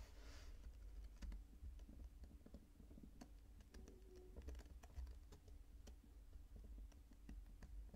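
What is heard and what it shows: Fingertips pinch and crumble purple kinetic sand over a spread-out pile, and the falling grains patter onto it. Quiet, scattered dry ticks and soft crackles sound over a steady low rumble throughout.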